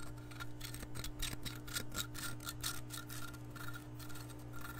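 Long painted nails scratch an empty, clear glass measuring cup with red markings as it is held close to the microphone. Bright, raspy scraping strokes repeat at roughly two per second over a steady low hum.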